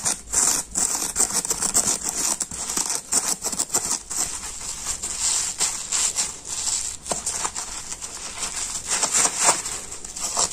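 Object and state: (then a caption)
Scouring sponge scratched and squeezed. A palm-sized teal polyurethane foam kitchen sponge with a green abrasive scouring layer, soft, porous and damp with soap suds, is held in both hands while its scouring side is scratched and rubbed with fingertips and short nails, then squeezed. The result is a steady, bright, hissy scratching with many quick crackly strokes and wet squishy bursts, with almost no low end.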